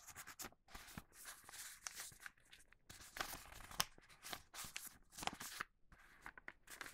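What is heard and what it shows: A large Halloween newspaper-print paper sheet lying on a cutting mat has its bottom edge folded and creased with the fingertips. Soft, bright crinkling and rubbing rustles come in irregular bursts with brief quiet gaps, mostly high in tone with little low end.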